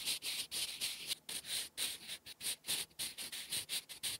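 A hand-held sharpened wooden graphite pencil writes cursive strokes on a flat sheet of lined writing paper, scratching across the surface. About seventeen short, bright, hissy scratching bursts come in quick succession, separated by brief pauses, with almost no low end.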